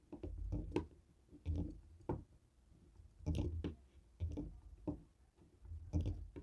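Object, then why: Plastic TV remote tapped with a stone roller. A small black plastic Fire TV remote with buttons and a sticker, lying on a wooden table, is struck by the stone head of a hand-held jade roller that taps and rolls over its buttons. Short, dull, low clicks and knocks come in irregular clusters, with brief scraping rolls between them and almost no ring.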